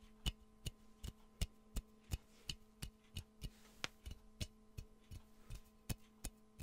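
Fingernails tap steadily on the body of a hollow, empty, yellow glazed ceramic Pikachu mug held close to the mic, making 18 short, dry clicks with a bright edge that die away almost at once. A faint steady low hum runs underneath the taps.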